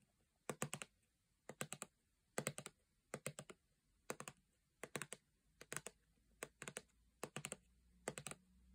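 Long painted nails tap and scratch a full-looking 400 ml gold plastic body lotion bottle held upright. Quiet bursts of quick, dry, clicky taps come in short clusters, each dying away almost instantly, with near-silent gaps between them.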